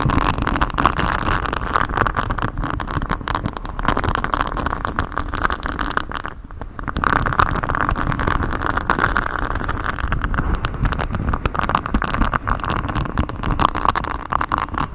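Fingers in black knit gloves scratch and rub a flexible grey silicone mic cover with a raised honeycomb hexagon pattern, bent around the microphone. The result is a steady, dense rustling and scraping with a strong band around 1 kHz over a heavy low rumble. The sound eases briefly to a quieter dip near the middle before resuming.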